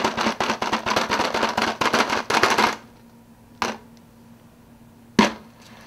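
Fingers tap fast on an empty soda cup, producing a quick, uneven run of light, dry clicks for nearly three seconds. Then come two single louder taps separated by quiet pauses, each fading quickly.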